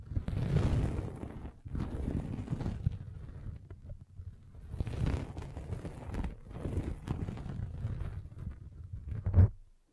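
A derma roller with metal spikes is rolled back and forth across a red velvet bag pulled over a microphone. The result is a series of deep, muffled rumbling strokes with a soft scratchy texture, almost entirely low in tone and ending in a brief louder thump before fading out.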